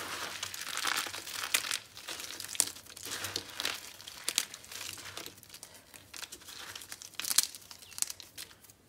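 A pile of dry, crumbly red and cream bar soap chunks and powder on a green glitter surface is crushed and rubbed between both hands' fingertips and palms. The result is a dense, bright crinkling crunch of many quick, dry crackles with sharper snaps here and there, almost no low end, and no ring after each crack.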